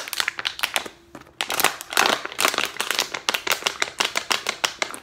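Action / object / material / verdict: scrape / thin plastic water bottle / plastic / none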